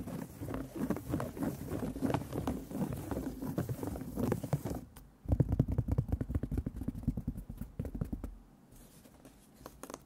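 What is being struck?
Fabric stretched in a wooden embroidery hoop.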